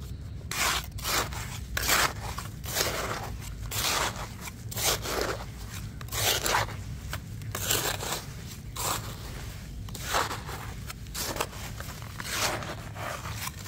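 A metal spatula digs and scrapes through a loose, crumbly, damp grey sand-cement mix in a blue plastic bucket, breaking up clumps. Irregular gritty scraping and crunching strokes repeat throughout, each a bright, hissy burst over a steady low hum.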